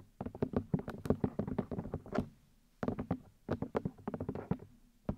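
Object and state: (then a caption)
Plastic microphone ear housings tapped with nails. Fingertips and long nails tap repeatedly on the white plastic ear housings of a 3Dio binaural microphone. The taps are quick, dry and hollow, with a low thump around 240 Hz and almost no ring. They come in rapid bursts separated by brief pauses.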